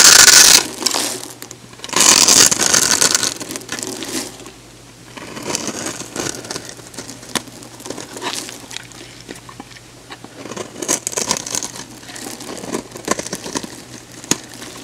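A metal box-cutter blade cuts a grid of small cubes into a solid, hand-sized orange oval bar of soap held in the hand, then shaves the cubes off. The result is bright, crisp crackling and scraping, with loud bursts at the start and around two to three seconds. These give way to a steady run of quieter, crunchy cuts.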